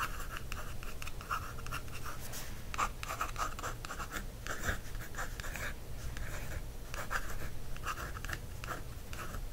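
Continuous fine, papery scratching with brief brighter strokes and no ringing at all, much like writing on paper. The sound comes from a wooden stick dragging over a matte paperback cover. A low steady hum sits underneath.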